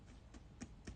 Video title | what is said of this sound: Let's Talk Hermès: Episode 2 | when you knock onto something like Togo you get a different sound so you literally get that boxy kind of sound